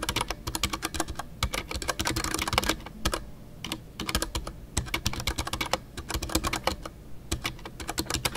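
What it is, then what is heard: Mechanical keyboard with plastic keycaps. Fingertips type continuously on a full-size Ducky One 2 mechanical keyboard with a white case, MX Brown switches, PBT plastic keycaps and custom artisanal keycaps. A rapid, steady stream of crisp keystrokes gives each press a bright clack over a low thud, with very short decay between strokes.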